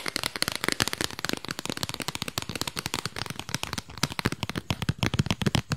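A small, flat, square cardboard album sleeve with a printed disc on the front is held in the hands and tapped fast with long pink nails. A rapid, uneven run of short, dry clicks and taps follows, each dying away almost at once, with a hollow low thump under bright crisp edges.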